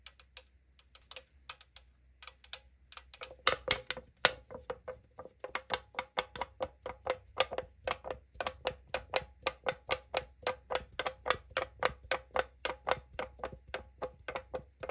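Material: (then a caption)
Aluminum. Long acrylic nails tap and scratch the printed side of a tall AriZona aluminum drink can, making about 45 short, bright clicks over a faint low hum. Each tap carries a brief metallic ring near 500 Hz. The taps start sparse and then become a steady, quicker run after about three seconds.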